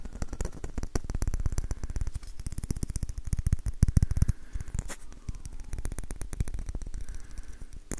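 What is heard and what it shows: Fingertips and nails rapidly tap the hollow bowl of an orange varnished wooden ladle with a curved handle, close to the recorder. The taps are short and dry, with deep, dull thumps and faint brighter clicks. They run as a steady, dense patter that swells louder just before the midpoint, then continues more softly.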